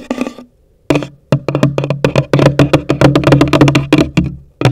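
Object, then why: Cardboard box. Long nails tap the top of a hollow, pale green cardboard box in a quick, uneven run of taps after a short scratchy opening. Each tap gives a dull, woody knock with a low hollow resonance that dies away quickly.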